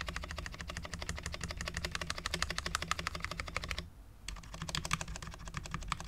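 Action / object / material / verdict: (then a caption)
tap / low-profile mechanical keyboard, ABS keycaps on a steel plate / ABS plastic / none. Fingertips of both hands type on a full-size Cherry MX10.0 low-profile mechanical keyboard with Cherry LP switches, dark ABS keycaps and a steel plate, resting on a desk mat. A rapid, uneven run of short, crisp clacking taps is heard over a steady low hum, with a brief pause near the four-second mark before the typing resumes.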